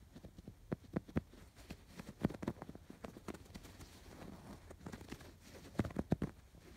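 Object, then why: Stuffed canvas pillow with yarn embroidery. Fingertips scratch across the stitched rows of a stuffed canvas pillow with raised blue and yellow yarn embroidery. The result is a run of soft, dull, quickly damped scratchy taps and rustles, mostly low in tone, coming in uneven bursts with a few louder strokes.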